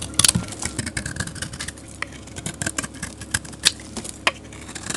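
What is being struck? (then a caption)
Bar of soap scraped with a metal blade. A metal blade scrapes flakes off the face of a solid, dark grey rectangular bar of soap. The result is a steady run of crisp, bright scraping and crackling, with several sharper clicks standing out above a faint low rumble.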